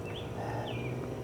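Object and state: Nothing is struck.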